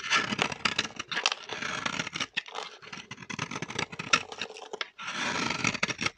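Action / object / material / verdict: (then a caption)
scrape / bar of soap scraped with a metal blade / soap / none. A metal blade scrapes a solid, dry green bar of vintage soap held in the hand, shaving it into crisp flakes. The scraping is bright and crackly, made of rapid strokes with brief pauses between bursts.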